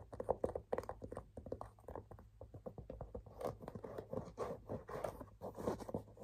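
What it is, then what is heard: Leather handbag tapped and scratched. Fingers tap and scratch the leather side panel of a cream and blue leather handbag that has a tan leather buckle strap. Quick, soft, dry taps come in irregular bursts mixed with light scratching, muffled and centred in the low mids with almost no bright content. A faint low hum runs underneath throughout.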